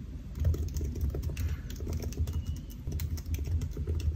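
Fingertips of both hands type on the black plastic keys of a solid silver aluminium laptop resting on a white desk. The result is a steady, rapid stream of soft, muffled taps with a low thudding body and only faint bright clicks, each tap dying away quickly.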